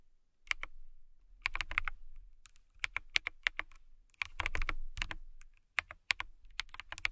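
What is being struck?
Acrylic mechanical keyboard.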